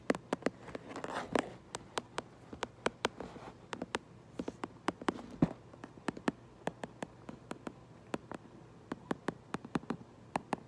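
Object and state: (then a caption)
Cardboard box. A fingernail taps and traces across the back of a cardboard Minecraft Lego box. Dozens of short, dry, crisp taps ring out in an irregular rhythm, with soft scratchy tracing sounds between them.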